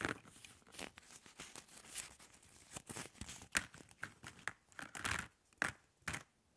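Fingertips and long nails rub and scratch across a pile of hollow plastic drinking straws on a table. The result is a quiet run of short, dry, crinkly scratching bursts with a bright, papery edge, each stopping almost at once, with brief near-silent gaps between strokes.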